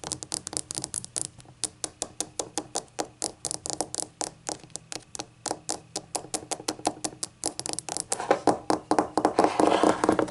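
Long acrylic nails tap and scratch the glossy glaze of a small, hollow, rainbow-glazed ceramic novelty shot glass that appears empty and stands upright on a table. About fifty quick, bright clicks with short rings around 790 Hz come in an uneven rhythm. Toward the end the taps grow louder and denser, mixed with a rougher scratching sound.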